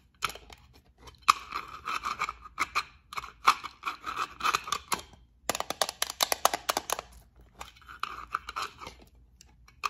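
Long acrylic nails scratch and tap a small rectangular clear plastic case with gold beads inside, held in the fingers. Bursts of dry, scratchy rasping alternate with quick bright clicks that stop dead, with a midrange emphasis near 1.2 kHz and brief quiet gaps between flurries.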